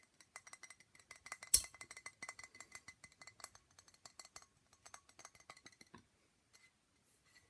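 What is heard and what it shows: A 700 ml glass bottle of single malt scotch whisky, a birthday gift for a father, is tapped with a quick run of light, bright clinks. One clearly louder hit comes near 1.5 seconds. The taps thin out and stop by about 6 seconds, leaving near silence with a couple of faint ticks.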